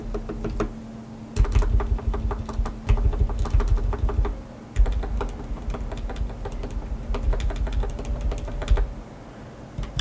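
A single fingertip taps the plastic keycaps of a black tenkeyless mechanical keyboard with RGB backlighting and lubed switches, one key at a time, on a white desk. The keystrokes are deep, muted clacks with almost no bright edge, coming in quick irregular runs with brief pauses over a faint low hum.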